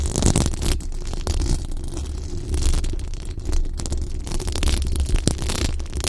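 Long acrylic nails on both hands scratch fast across the hollow, dome-shaped metal mesh grille of a large condenser microphone. The result is a dense, continuous rumbling scrape, heavy in the low end, with quick bright crackles flickering over it.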